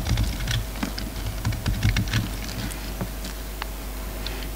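A solid bar of soap with black and white layers, held in the fingers, is carved with a utility knife blade. Quick, irregular crisp clicks and scrapes tap out a fast, typing-like patter over a steady low hum, with a few sharper bright snaps standing out.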